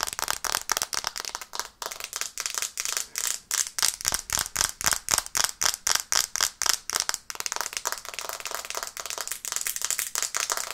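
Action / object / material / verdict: tap / smartphone glass screen / glass / none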